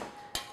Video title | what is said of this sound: French Baguettes Recipe Demonstration - Joyofbaking.com | they're Hollow so that's just what we want